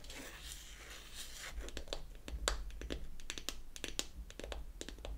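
Long acrylic nails tap and scratch the lid of a small, round, pink-painted wooden toy foundation compact, held closed in the palm. A soft, bright scratching rustle opens the clip, then gives way to a run of sharp, dry clicking taps over a low background rumble.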